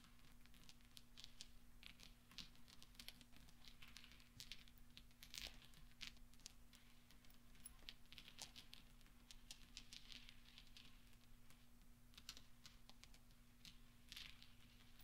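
Small solid steel pachinko balls scattered on black velvet are pushed and rolled by fingertips so they clink against each other. Soft, bright metallic ticks and clicks come in steady, overlapping bursts throughout, over a constant low hum.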